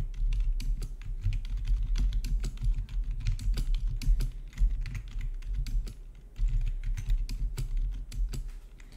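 Fingertips type steadily on a full-size black plastic RGB backlit gaming keyboard with a hollow housing, resting on a marble surface. The result is a continuous stream of quick, bright key clicks over a low, hollow thudding body, with a brief lull around the six-second mark before the typing picks back up.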